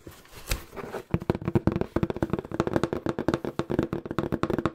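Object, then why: Corrugated cardboard box. Fingertips tap aggressively and fast on a small, hollow, empty-looking brown corrugated cardboard box held close to the mic. After about a second of soft, low rustling, around 24 quick, dull, hollow taps follow in a rapid, uneven patter. Each tap is short and dry, with a low-mid tone and almost no bright edge.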